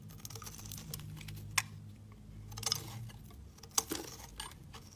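A utility knife slices pieces off a solid white soap bar held in the fingers. Quiet, steady scraping with a low hum underneath is broken by three sharp, bright cutting snaps.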